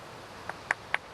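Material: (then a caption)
Flint. A piece of beach flint is tapped four times to test it for fractures from being rolled in the surf. Each tap gives a short, bright, crystal-like click centred near 1.7 kHz that dies away almost at once, marking it as a good piece free of flaws.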